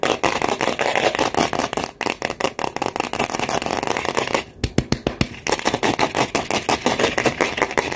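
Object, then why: Styrofoam ball scratched and tapped with long nails. Long nails scratch and tap rapidly across the surface of a large white solid styrofoam ball held in both hands. The result is a dense stream of dry, crackly clicks and squeaky scrapes with a bright edge. Around the middle it briefly thins to a few distinct taps, then the fast scratching resumes.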